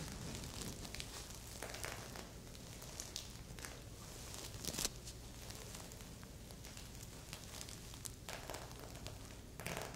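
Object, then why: Sequin-covered fabric heart pillow. Long painted nails and fingertips scratch and tap the surface of a soft, stuffed, medium red reversible-sequin heart-shaped pillow lying on a grey surface. A steady stream of quiet, bright crinkling scratches is heard, with short sharp ticks and occasional louder rustling bursts over a low background rumble.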